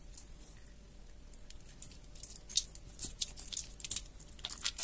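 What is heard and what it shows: A large, solid, water-soaked light green bar of soap, held over a white sink, is squeezed, crumbled and rubbed apart by fingertips with red painted nails. Quiet, wet crunching and crackling builds into a run of sharp, bright crisp snaps, many short hits, as the bar breaks into mushy flakes.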